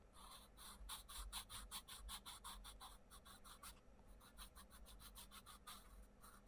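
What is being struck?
Paper colouring book page under a wooden pencil.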